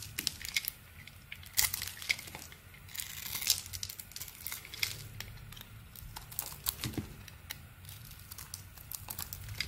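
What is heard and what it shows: A metal blade scrapes and carves thin shavings off the face of a palm-sized, solid orange and purple bar of soap held in the hand. The carving produces a steady run of bright, crisp crinkling and crackling scrapes, with short sharp bursts standing out over a faint low hum.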